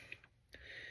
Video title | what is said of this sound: Frogging Tips for catching HUGE Bass! #bassfishing #radarsbushcamp #fishing | Shake it so you can hear, yep, it's in there.